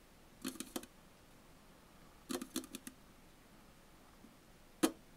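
Long fingernails of both hands tap on the top of a sealed, likely full Tully's aluminum coffee bottle can lying on its side on a table. About ten short, dry metallic clicks come in two quick clusters, followed by a faint tap and then one sharper, brighter tap near the end. Each click dies away almost instantly.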